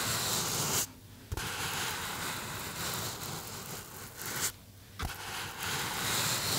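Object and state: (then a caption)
Polystyrene foam box. A small white polystyrene foam box or block, held in both hands close to the mic, is rubbed and squeezed by fingertips across its surface. The result is a steady, bright, scratchy squeaking and rubbing, broken by two brief silences that each end in a sharp little snap before the rubbing resumes.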